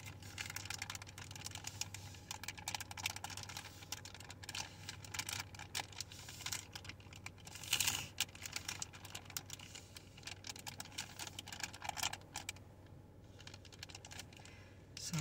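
A hand-sized soft flexible plastic pouch of baby wipes with a hard white plastic flip lid, full of wipes and held up close, is tapped and scratched with long painted fingernails. Rapid, dense crisp clicks and scratchy crinkling fill the whole clip, mostly bright with little low end. A louder burst comes near the middle, and the activity thins out toward the end.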